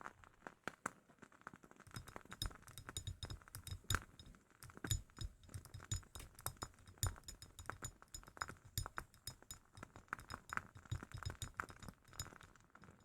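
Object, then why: Glass candle jar. A glass candle jar from a WoodWick candle is tapped repeatedly in a steady, uneven run of quick, light clinks. Each tap is short and bright with almost no ring, over a soft low thump underneath. The result is a continuous pattern of crisp glass clinking throughout.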